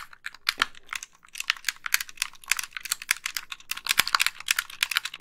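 Long nails tap and click rapidly on the buttons and thumbsticks of a white, hollow, wired plastic game controller held close to the microphone. The result is a dense, irregular stream of sharp, bright plastic clicks with almost no low end and very short decay.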